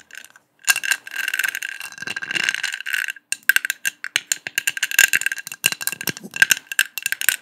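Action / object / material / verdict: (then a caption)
tap / metal mesh disc / metal / none. Long acrylic nails tap and scratch across a round, flat, hand-sized gold metal disc with a honeycomb mesh pattern and a small centre hole, held close in front of the microphone. A bright, rattling scrape builds for a couple of seconds, then gives way to rapid, crisp metallic taps with a tinny ring near 1.6 kHz and almost no low end. Each tap dies away almost instantly.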